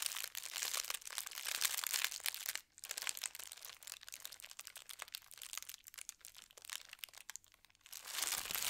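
Fingertips with long red nails scrunch and rub thin white tissue paper printed with gold stars. Dense, bright crinkling rises and falls in level, with a brief quiet gap near the 2.6-second mark and a dip near the end before it picks up again.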